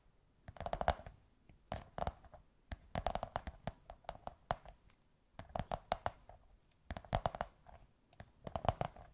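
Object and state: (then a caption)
Cardboard tube tapped with fingernails. Long white nails tap and scratch a beige kraft cardboard tube in quick bursts of dry, muffled clicks and knocks. The taps come in clusters separated by short pauses, with a hollow midrange body and almost no ring after each strike.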